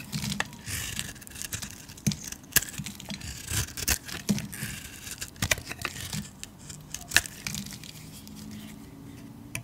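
A metal utility-knife blade shaves and scrapes curls off the surface of a solid cream-colored bar of soap with painted grey edges, held in the hand. Dry, crisp scraping and tearing strokes come with sharp, bright clicks and crackles, with a faint low rumble underneath.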